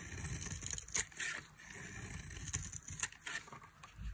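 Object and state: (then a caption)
Dry soap bar being shaved. A metal knife shaves thin curls from a dry, solid white soap bar with a red coating. Bright, crisp scraping strokes rise over a soft low rumble, with sharper rasps standing out between quieter passes.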